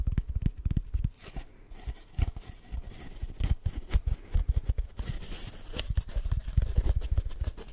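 An empty, hollow brown cardboard tube is held over the mic and tapped and scratched with fingertips and short nails. The result is a run of dull, deep, hollow thumps mixed with dry, bright scratching and rustling bursts, with very little ring after each tap.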